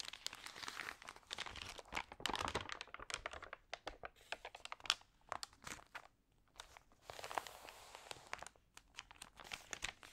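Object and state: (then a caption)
Glossy paper magazine pages being crinkled. A single open glossy paper magazine with thin, lightly water-sprayed pages lies on a yellow table while long painted nails and fingertips turn and crinkle the pages. The result is a dense run of bright, sharp crinkles and crackles, with brief quieter gaps between page movements.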